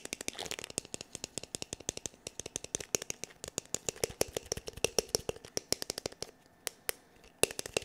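Fingertips and nails tap quickly and unevenly on the hard shell of a black, glossy, hollow plastic paddle hair brush's back, producing about fifty sharp, dry clicks over eight seconds. Each tap has a bright attack and a slight hollow knock in the mid range, stopping instantly with no ring.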